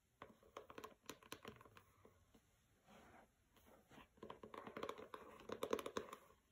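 Long nails tap and scratch the cover of a pink hardcover book with a matte paper dust jacket lying on a carpet. Quiet, dry, papery taps come in irregular bursts, broken by a soft continuous scratching stretch in the middle. The taps grow denser and slightly louder toward the end, each one dying away almost instantly.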